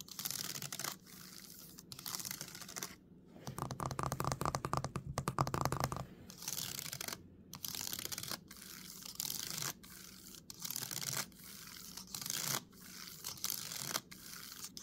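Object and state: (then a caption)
Laptop keyboard with plastic keys. Fingertips tap and type quickly across the plastic keys of a dark laptop with a metal body and a sticker on the palm rest. Dense bursts of bright, crisp clicks come in short runs separated by brief pauses. A louder, busier stretch from about 3.5 to 6 seconds carries a low tonal hum beneath the clatter.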